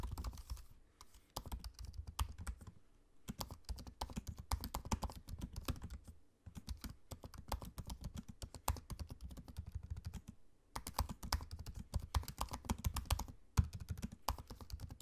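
Fingertips of both hands type quickly on a MacBook-style laptop keyboard, with low-profile plastic keycaps set in a space-grey aluminium body. Rapid, dry, soft tapping comes in bursts with brief pauses between them. Each keystroke is a short, dull thud that dies away almost instantly.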